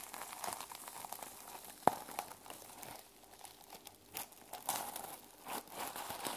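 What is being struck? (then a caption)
Journal with a plastic sequin cover. Long nails scratch across the plastic sequin cover of a mermaid sequin journal held up in the air, flipping the sequins back and forth. A dense, crinkly rasp fills the clip with bright clicking flicks, one sharp snap near the two-second mark, and louder swells of scraping toward the end.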